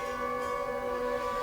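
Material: Nothing is struck.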